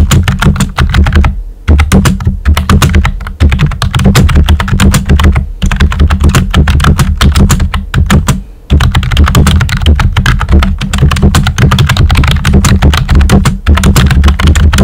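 Fingertips with short nails type quickly on a pink and white plastic computer keyboard with round typewriter-style keycaps and hollow keys. The result is a dense, steady stream of short, deep clacks with a strong low thump and very little ring. Brief pauses break the typing around 1.5, 5.5 and 8.5 seconds.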